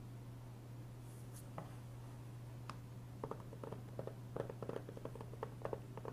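Fingertips tap and trace over a closed, hollow, thin hard plastic PS3 game case for Heavy Rain resting on a wooden desk, flipping it from front to back partway through. Quiet, short clicky taps and light scratchy strokes grow denser in the second half, over a steady low hum.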